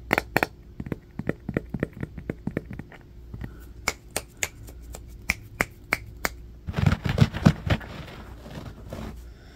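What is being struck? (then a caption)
Bamboo paddle hairbrush. Fingernails scratch and tap the wooden back and edges of a striped bamboo paddle hairbrush with black bristles, held in the hands and then set on carpet. A fast, irregular string of sharp, dry clicks and ticks comes first. Near the end it gives way to a denser, rougher burst of scratching with low thumps, then a soft, fading scratch.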